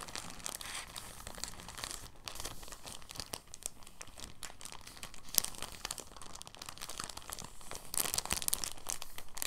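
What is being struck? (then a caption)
Thin plastic bag. A clear, thin, soft plastic bag is crumpled and rolled by fingertips on a table, making a steady, quiet crinkling. Dense bright crackles run throughout, with a sharper crunch around five seconds and a louder flurry of crinkles near the end.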